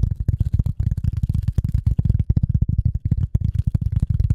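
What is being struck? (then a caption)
Polyethylene foam sheet. A rectangular dark gray polyethylene foam sheet, held in front of a microphone, is tapped and scratched with the long nails of both hands. It makes a fast, dense stream of soft, dull, low thumps that stop almost instantly, with faint bright ticks from the nails above them.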